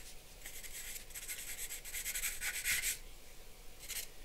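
A charcoal pencil held in the hand scratches and strokes across a large white drawing paper sheet on a black board lying flat on a wooden desk, sketching lines. Bursts of bright, dry scratching come in quick strokes, peaking near the middle, separated by quiet pauses, with a brief final flurry at the end.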